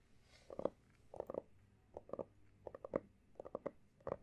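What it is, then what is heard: Hardcover notebook being tapped. Fingertips and short nails tap and scratch the solid, pale blue embossed cover of a closed textured hardcover notebook. The quiet, dry taps come in small clusters of two or three, with a muted midrange knock around 540 Hz and almost no ring. Faint scratching fills the gaps between them.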